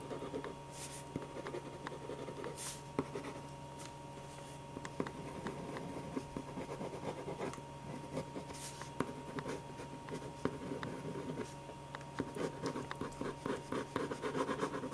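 A black pen tip scratches across a single thin, flat white paper sheet on a desk in quick hatching strokes while drawing a portrait. The result is a soft, continuous scratching with occasional sharper ticks and bright rustling streaks, over a faint steady hum. It grows slightly busier toward the end.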